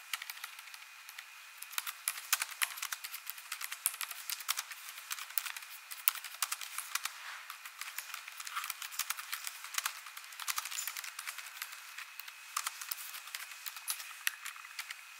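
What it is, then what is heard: Plastic laptop keyboard. Fingertips with long nails tap the plastic keys of a laptop keyboard, next to the touchpad, while typing. A quiet, steady stream of sharp, bright clicks with almost no low end sounds throughout, with denser bursts and a faint steady tone underneath.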